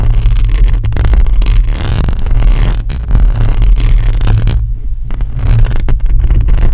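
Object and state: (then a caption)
Metal mesh microphone grille scratched with nails. Long acrylic nails on one hand scratch across a hollow metal mesh microphone grille. The result is a dense, continuous scratching and rustling with a heavy, booming low rumble, broken by a brief quieter moment near the end.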